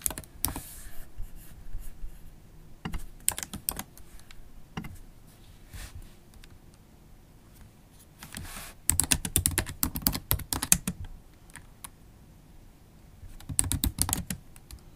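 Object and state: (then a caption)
Laptop keyboard with plastic keys. Long stiletto acrylic nails tap slowly on the black plastic keys of a MacBook Pro keyboard with an aluminium body, producing irregular bursts of short, sharp clicks with bright tips. Flurries of typing cluster around the middle and end of the clip, with quiet gaps between them.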